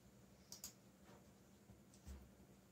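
Fingertips tap the keys of a backlit black plastic mechanical keyboard in a few sparse keystrokes. Two sharp, bright clicks stand out near the start, and a softer, lower thud follows about a second and a half later over a faint steady hum.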